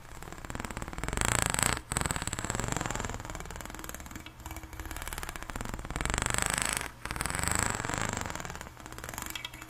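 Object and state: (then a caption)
Plastic corrugated pop tube being scraped. Long nails run and scratch along the ridges of an extended pink, ribbed, hollow plastic pop tube, producing a rapid, dense ratcheting rasp with a low buzzing hum. The strokes sweep back and forth in several continuous passes, separated by brief pauses.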